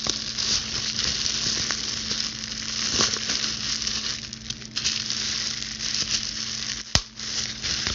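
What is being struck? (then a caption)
Plastic bubble wrap sheet. Long blue pointed acrylic nails scratch, pinch and pop a clear plastic bubble wrap sheet. A steady bright crackling, sizzling rustle runs throughout, with a sharp, loud pop near the end.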